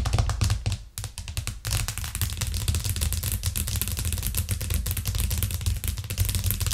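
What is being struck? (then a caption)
Plastic cutting board. Long acrylic nails tap rapidly on a thin, solid white plastic cutting board with a green rim, lying flat on a cork coaster. The result is a dense stream of quick, dry clicks with a heavy low thump beneath them. The taps pause briefly near the first and second seconds, then continue steadily to the end.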